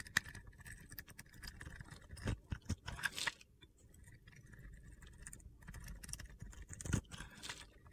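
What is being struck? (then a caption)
Glitter-coated soap bar. A metal blade scrapes the top of a solid soap bar coated in blue and purple glitter with a teal interior, held in the hand, shaving off gritty flakes. The sound is a soft, crackly, gritty scraping with a faint tone near 1.9 kHz, broken by a few sharper crunchy clicks and brief quiet pauses.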